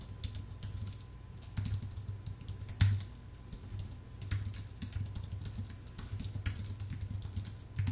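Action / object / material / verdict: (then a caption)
tap / computer keyboard with plastic keys on an aluminium base / plastic, aluminium / none. Fingertips type continuously on a full-size white Apple Magic Keyboard with an aluminium base and plastic keys. A steady stream of short, bright key clicks with occasional louder taps rides over a constant low hum.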